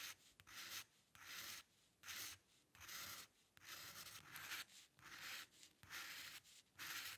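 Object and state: Steel dip pen nib scratching on paper.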